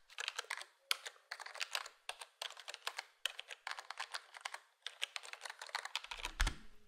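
A black plastic full-size gaming keyboard (HyperX Alloy Core) with square plastic keycaps and a foam-dampened case is typed on by fingertips in quick bursts of bright, short clicky taps. The keystrokes are crisp and high-pitched with little low end. Near the end there is a deeper thump.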